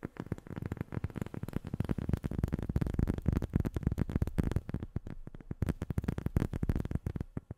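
Long fingernails tap rapidly and steadily on a rubber sheet, making a dense run of short, dull, muffled clicks. The taps are weighted toward low frequencies and stop dead with no ring.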